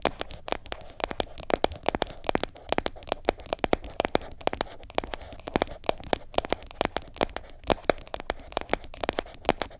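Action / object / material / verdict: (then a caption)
scrape / plastic jar with plastic lid / plastic / none. Long nails tap and scratch the side of the orange plastic lid and the body of a medium yellow plastic sugar scrub jar that appears full. The result is a dense run of short, dry clicks and crackly scrapes with no ring, a hollow plastic tone in the midrange, and bright ticks on top.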